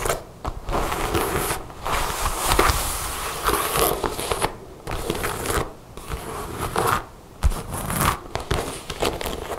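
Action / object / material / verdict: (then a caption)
scrape / leather jacket / leather / none. Long nails scratch and rub across the chest panels of a dark brown leather jacket with zippers and snap pockets. The close-up gives bursts of dry crackling and rasping friction with sharp taps, separated by brief quiet pauses.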